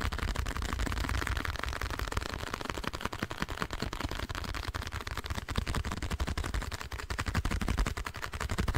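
A small, hollow, printed blue cardboard box is held close to the microphone and tapped rapidly with fingernails. The steady stream of quick taps gives a dull, deep, hollow thumping with a little bright click on top. Each tap dies away almost instantly, so the whole nine seconds sounds like a fast, even patter.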